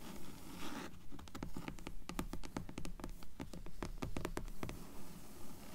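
Long nails scratch across the cover of a dark grey hardcover book, making a quick, fairly regular run of soft, dry scratches. Each stroke is a short, bright crackle over a low, muffled body, fading almost at once and repeating at a brisk pace.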